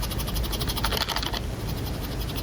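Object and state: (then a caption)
Blind box capsule with mini ramen set (furikake piece rattling). A Make it Mini Diner Series 2 blind box capsule is shaken at a particular angle to avoid clamshell noise, producing a light, fast rattle of a small piece inside against a steady low background hum. The rattling furikake piece identifies the capsule as the mini ramen set, which stays unopened.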